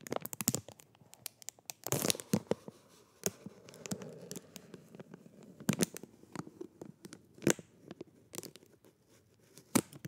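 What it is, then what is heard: Plastic film sleeve crinkled. A thin, transparent, hollow plastic sleeve around a black-handled makeup brush is held in both hands while fingertips crinkle and rub it, sliding it along the brush. Quick, sharp crackles and bright crinkling snaps burst out irregularly over softer, continuous rustling. The sound stays quiet and close, with each snap dying away almost instantly.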